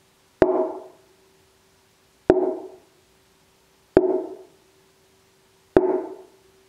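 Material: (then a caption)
Wood. Four taps on the crown of an already-tuned wooden mandola soundboard, where the bridge will sit, each a short woody knock with a brief tonal ring near 370 Hz. The taps come at roughly even intervals, and each note fades within about half a second.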